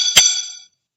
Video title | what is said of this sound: How many types of metal pipes are there? /पाइप कितने प्रकार के होते हैं? | कि यह आवाज से पता चल रहा है यह जो है अलमूनियम की पाइप है